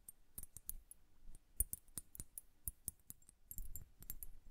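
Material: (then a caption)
Glass. Long nails tap a glass bubble hourglass filled with blue liquid and bubbles, and it is turned by hand. About nineteen quick, sharp clicks follow one another, each with a bright, high tick over a soft low thump. They die away at once, with faint handling rustle between them.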